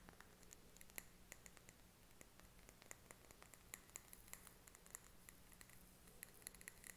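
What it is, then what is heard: Glass candle jar filled with wax. A small glass candle jar filled with solid green wax is held in both hands while fingernails tap and scratch around its glass wall. Quick, quiet, bright clicks with a brief high glassy tick follow each other irregularly over soft scratching and a faint steady low hum.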